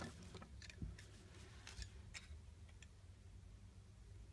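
A solid green bar of soap with a leaf imprint is held in the hand while its surface is scraped and sliced with a utility knife. Soft, crisp scraping ticks and brief bright cutting sounds are heard over a steady, quiet low hum.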